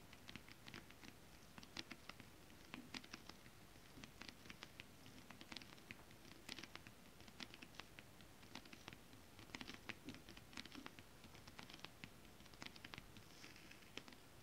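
Long acrylic nails on both hands tap quickly and lightly across flat holographic mermaid scale-print fabric. The result is a dense, soft patter of many short, dry clicks with bright high edges over a quiet, low rustle.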